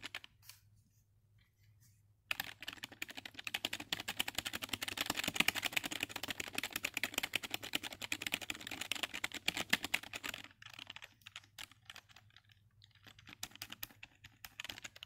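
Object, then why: Plastic computer keyboard. Fingertips type rapidly on the hollow keys of a black full-size plastic computer keyboard, producing bright, sharp plastic clicks that stop almost instantly. After about two seconds of near silence with a few faint taps, a dense burst of fast typing runs until about 10.5 seconds, then thins to scattered keystrokes to the end.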